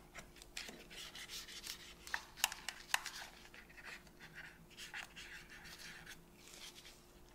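A cotton swab held in a gloved hand rubs and scratches around the buttons and thumbsticks of a hollow white and black plastic PS5 controller. Soft, bright, rhythmic rasping runs throughout over a faint steady hum, with three sharper ticks standing out in the middle.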